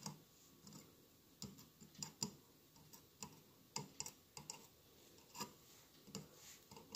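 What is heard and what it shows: Fingertips and nails tap the sides of a hollow glass mosaic votive candle holder with a lit candle inside. Quiet, irregular taps sound as short, bright clicks over a soft low thump, each dying away almost at once with no lasting ring.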